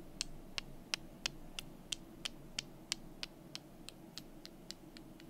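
Two small, solid, painted wooden calendar number cubes are held in the fingers and knocked together while long nails touch them. This produces 16 sharp, dry, bright clicks at a steady pace of about three per second. The clicks die away instantly over a low, constant hum.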